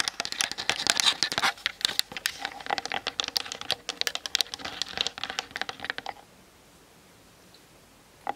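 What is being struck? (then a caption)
Plastic camera body and lens. Long nails tap fast on a hollow plastic Canon DSLR body and lens sitting on a tripod, seen in a mirror, and lightly scratch its top and sides. Dense, bright plastic clicks and scratchy strokes run for about six seconds. Near-silence follows, broken by one more tap at the end.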